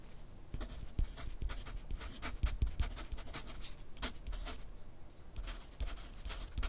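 A wooden graphite pencil is drawn across a thin grid paper sheet clipped to a flat clipboard on a desk while writing. It makes a run of short, bright scratching strokes in quick bursts over a soft low rumble.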